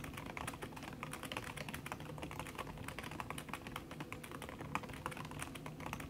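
Fingertips with long red nails type fast on a backlit aluminium laptop keyboard whose plastic keys sit under a red silicone skin. The result is a dense, continuous patter of soft, muffled clicks with quick, short decays over a low background rumble.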